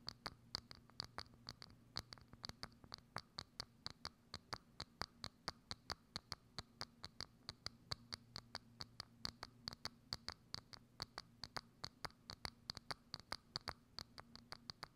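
Long acrylic nails scratch and tap a hollow, thin, clear transparent plastic dome lid set over a microphone. About 69 quick, sharp, bright clicks fall in a steady rhythm with almost no ring. Soft scratching and a low steady hum run underneath.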